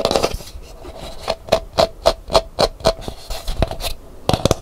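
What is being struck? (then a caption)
Dried calabash gourd bowl. Long nails scratch and tap a hollow, empty, dried calabash gourd bowl with a painted hibiscus interior: first the rim and outer shell while it is held, then the inside once it is set upright. A quick, uneven series of dry, bright scrapes and taps each carries a brief hollow ring near 540 Hz. The sounds die away almost instantly.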